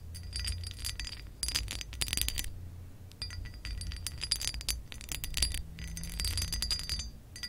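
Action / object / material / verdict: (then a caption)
scrape / pressed glass lamp base / pressed glass / none. Acrylic nail tips tap and scratch across a textured pressed-glass lamp base. Clusters of bright, high clicks and scraping with a short glassy ring come in bursts, separated by brief quieter gaps near one and three seconds. A steady low rumble sits underneath throughout.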